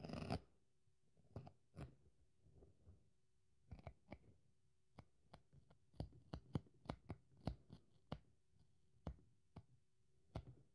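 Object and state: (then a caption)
Dry polyurethane foam sponge being torn. A craft knife gouges and tears into the soft foam side of a dry, already torn pink polyurethane foam kitchen sponge. Soft, muffled scratching and crunching alternates with a series of short, sharp clicks and snaps. A faint steady hum sits underneath, and most of the sound stays quiet and low.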